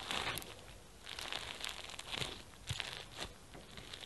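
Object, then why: Foam bead slime with sequins. Pink foam bead slime (floam) with sequins on a white surface is pressed and kneaded flat with fingertips, then squeezed into a ball with both hands. It gives quiet, bright, crunchy crinkling pops in a steady stream of short bursts.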